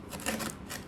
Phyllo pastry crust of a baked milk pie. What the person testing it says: it sounds crispy even in the center of it that's the success